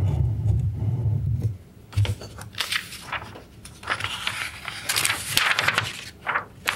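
An open glossy paper issue of Electronic Musician magazine from August 1991 lies on a wooden table as fingertips rub and smooth its pages and turn them over by hand. A low rumble opens the clip, then bright, crisp paper rustles, swishes and crinkles rise and fall as the pages are handled and flipped.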